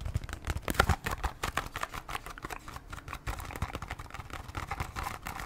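A small cardboard Band-Aid box is scratched and tapped with long nails. Quick, dry taps and scratchy rustling run steadily throughout, with soft low thumps and brief clicks that stop dead without ringing.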